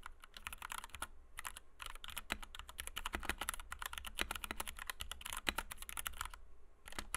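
A compact white 60% Kemove DK61 mechanical keyboard with Gateron Red switches, PBT doubleshot keycaps and a plastic case rests on a desk mat while the fingertips of both hands type rapidly on the keys. The result is a dense, continuous stream of short, bright clacks over a low thocking body, with each keystroke dying away almost instantly. The typing pauses briefly twice before resuming.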